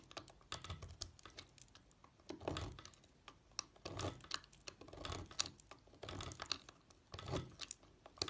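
A red-handled utility knife scores and slices thin strips from one end of a solid pink Palmolive bar of soap held on a white table. The result is a series of quick, crisp scraping and clicking cuts with bright, papery edges and a soft low thud beneath. The sound comes in bursts with brief pauses between them.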